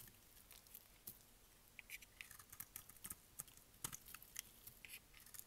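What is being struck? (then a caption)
Bar of soap shaved with a blade. A utility blade shaves and scrapes curls off a hand-sized, solid, oval pink dry bar of soap held in the hand. The result is a quiet run of dry, crisp scratching and crackling bursts, bright and brittle, each ending abruptly with no ring.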